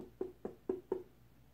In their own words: knock it if you hear a super hollow noise then you know it's a ripe watermelon